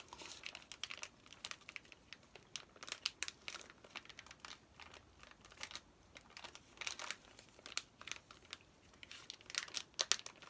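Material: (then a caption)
Plastic film. Fingertips and nails rub, tap and crinkle the plastic wrapping of a flat, plastic-sealed Paw Patrol activity pack with paper contents while it is held. The result is quiet, bright, dry crinkling with many short, sharp ticks and almost no low end.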